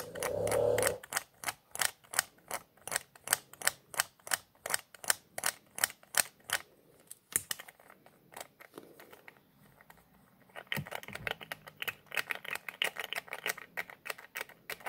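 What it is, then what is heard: Plastic squeeze bottle nozzle cap clicking. Fingertips twist and click the white plastic nozzle cap on a small white plastic squeeze bottle with a red label. A brief muffled rustle opens into a fast run of sharp, bright plastic clicks. After a quiet pause, a denser stretch of softer, scratchy ticking follows.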